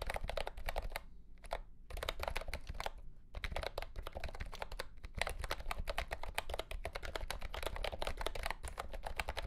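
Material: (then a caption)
Plastic. A mint-green retro "Candy Green" mechanical keyboard, priced at $75, with round plastic keycaps and a hollow plastic case, lies on a carpet mat and is typed on with the fingertips of both hands. A steady stream of quick, short plastic clacks with a hollow, low-weighted body runs throughout. The typing pauses briefly around one to two seconds and again near three and five seconds.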